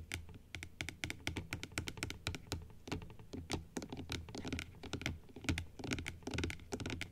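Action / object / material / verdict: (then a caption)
tap / plastic dental model teeth tapped with fingernails / plastic / none. Long acrylic nails tap quickly along the arch of white plastic teeth on a large plastic dental model that stands opened upright. The taps are short, dry clicks with a bright top and a soft low thump underneath, each dying away almost at once. They come in an uneven, rapid patter like typing.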